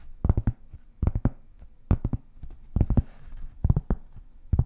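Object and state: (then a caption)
Cork board. A large, round, flat, solid cork board is held beside the mic and tapped and scratched with long painted fingernails. Quick clusters of dull, low thuds with almost no ring alternate with a soft, brighter scratching hiss between them.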